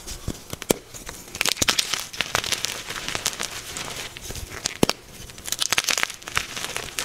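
A soft, solid, crumbly white magnesium carbonate gym chalk block, held in both hands with pink-nailed fingertips, is squeezed, snapped and crushed into chunks over a pile of chalk powder. Many sharp, bright crackles and crunches come in quick bursts over a soft, gritty crumbling texture, with almost no ring after each snap.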